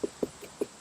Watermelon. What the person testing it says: definitely has a higher pitch so this one is not ready